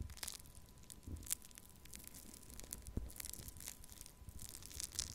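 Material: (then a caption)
Foam beads. Pink foam-bead pearl clay in a small plastic cup is crushed and scratched with the tip of a thin wooden stick. Quiet, continuous crackling and crunching is heard, with bright, crisp ticks and soft low thumps scattered throughout.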